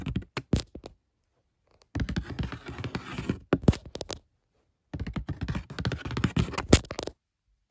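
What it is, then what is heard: Cardboard box. Long fingernails tap and scratch the top surface of a hollow brown corrugated cardboard shipping box with a printed barcode. Quick, dull, low thumps mix with dry scratching in three bursts separated by short silences, each tap dying away almost instantly.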